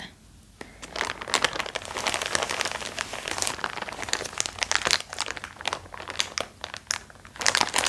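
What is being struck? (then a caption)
Thin plastic wrap over a cotton roll. Fingertips and nails pick at and crinkle the thin clear plastic wrap around a large white cylindrical roll of cotton lying on a towel. After a quiet first half-second, dense, bright crinkling and crackling run almost continuously, with short sharp scratches and louder bursts near the middle and end. There is little low end and almost no ring after each crackle.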